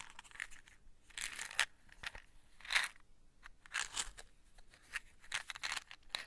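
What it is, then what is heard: Cardboard matchbox tapped and scratched. Long white nails tap and scratch on the faces and edges of a small, closed, printed cardboard matchbox held in the hands. It makes quiet, crisp, bright scratching bursts with little low end, coming in an irregular, uneven rhythm. Each scrape dies away almost at once.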